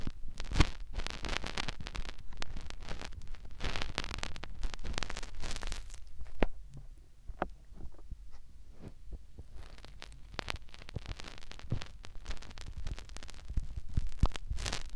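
A fingertip rubs inside the ear canal of a white silicone ear on a binaural microphone, giving close, muffled rustling and scratchy crackles over a deep, rumbling low end. The rubbing is dense and steady at first, thins out into sparse soft scratches in the middle, then picks up again toward the end.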